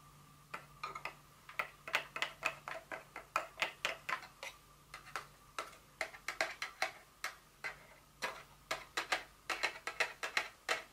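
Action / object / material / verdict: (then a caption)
tap / paperboard box tapped with fingernails / paperboard / none. Long nails tap and scratch an opened, empty white paperboard Dior fragrance box that lies partly unfolded with open flaps on a table. It gives an uneven series of quick, dry, bright clicks with thin hollow ticks and light scratching. A faint low hum sits underneath.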